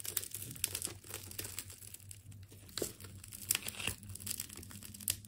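A utility knife slices into a partly cut, wound ball of purple and blue plastic tape, producing dense, bright crinkling and tearing with sharp crackling snaps over a faint, steady low hum.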